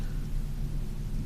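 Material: Nothing is struck.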